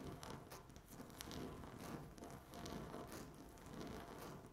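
Long natural nail tips tap and scratch a flat, solid speckled laminate tabletop. The result is a soft, continuous scratchy rasping, with bright clicky ticks and faint low rumbling underneath.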